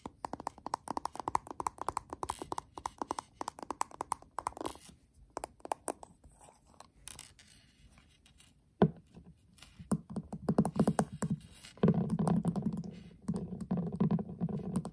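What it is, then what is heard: Metal tin eyeshadow palette. A flat, hollow metal tin eyeshadow palette has its gold metal edge and back tapped and scratched with fingertips and short nails. Rapid light taps and scratchy strokes run throughout, with a louder, denser, lower-pitched stretch of scratching toward the end.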